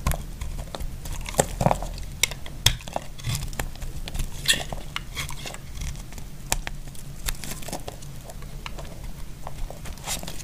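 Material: Soap.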